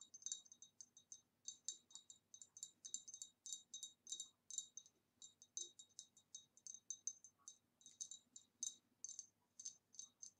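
An empty, hollow, ribbed green retro glass vase, held in one hand, is tapped on its side with the long nails of the other hand. It gives a quick, uneven stream of quiet, bright clicking taps with a high glassy ping that dies away almost at once.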